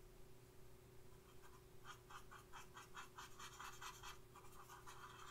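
A thin makeup brush held in the fingers makes short, quick scratching strokes across the eyebrow area of a flat paper face chart clipped to a clipboard. The soft, papery scratches repeat in a loose rhythm with a bright, hissy edge. They sit over a steady low hum and a faint constant tone.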